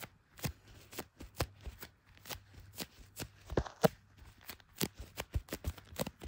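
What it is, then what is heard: Smartphone in plastic case. Leather-gloved fingertips tap and rub the back of a handheld blue iPhone in a clear plastic MagSafe case, with the camera lenses visible. About 21 quick, dry, muted taps land at an uneven pace, each dying away almost instantly, with faint rubbing between them.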